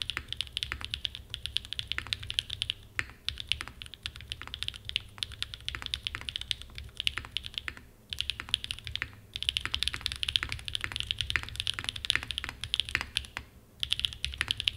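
Fingertips type continuously on a small 60% mechanical keyboard with a red aluminum case and black plastic keycaps, resting on a desk mat. Rapid, bright, short clacks centered around 3.4 kHz come in bursts, with brief pauses near 3, 8, 9 and 14 seconds. A steady low hum sits underneath throughout.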